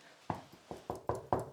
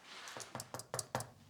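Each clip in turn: First: hollow wall plaster. Second: solid, well-bonded wall plaster.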